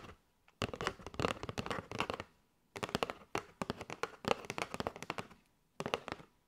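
Long nails tap quickly on a kraft cardboard box with a window, full of paper straws. Dry, crisp clicking taps come in four rapid bursts separated by short silences, each tap short with almost no ring.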